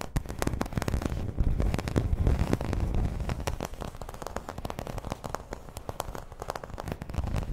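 Long red nails rapidly scratch and tap a flat, round, dark green embossed plastic placemat. The result is a dense, irregular stream of quick crackling taps and scratchy rasps, heavy in low-end thump, that stays steady throughout with slight swells in intensity.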